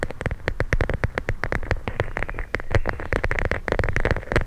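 A clear plastic pouch filled with teal gel beads, held in both hands, is squeezed and scratched with long nails. It makes a dense, rapid stream of short, crisp crackling clicks over a soft, low rumble, with a faint tonal edge near 500 Hz and 2 kHz. The clicks stop instantly, with no ring.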